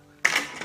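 A plastic Daiwa SP Minnow jerkbait lure is shaken, and its internal weight, which has no spring, slides back and forth inside the body. This produces a bright, clicking rattle that starts sharply and then fades with a smaller clatter near the end. Unlike the Shimano Coltsniper, whose spring-loaded weight stays silent when shaken, this lure rattles audibly.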